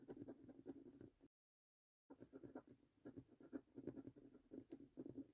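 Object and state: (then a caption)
Scratch card being scratched with a coin. A coin held in the fingertips scratches the latex coating off the YOUR NUMBERS row of a thin, flat printed cardboard £1 million Bank The Cash 15 National Lottery scratch card lying on a table. Quiet, dry, rasping strokes come in quick repeated bursts, broken by a brief full silence just after the first second. The strokes then resume with a steady scraping rhythm.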